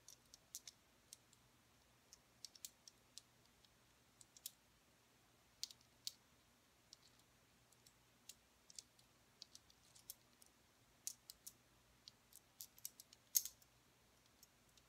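A handful of small, solid, polished tumbled crystal stones is held in an open palm and stirred and rubbed with long painted nails, so the stones click against each other. The quiet, irregular clicks are very short and bright, ringing off almost instantly over a faint, steady low hum.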